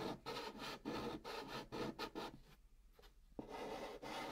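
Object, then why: Chalk on a cardboard box. A hand makes short, repeated pink chalk strokes inside a curved band on the hollow surface of a brown cardboard box, the chalk scratching the cardboard. Dry, rasping scrapes come in quick bursts, then fade to a quieter stretch before a sharp stroke brings steady scratching back.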